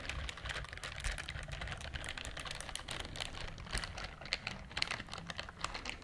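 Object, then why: Silicone scrubber glove with bristle pad. Long acrylic nails on one hand scratch and rub a pink silicone dishwashing glove with a bristle pad, worn on the other hand. The result is a dense, steady stream of quick, dry, bright ticking and scratching over a faint low rumble, with a few sharper clicks standing out near the end.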